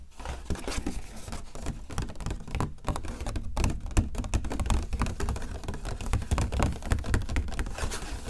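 Long nails tap and scratch the front of an empty, medium-size printed coated paper gift bag with a flamingo print, and the bag is opened at the end. The result is a steady run of quick, dry, muffled taps and scratchy rustles that stop short with almost no ring.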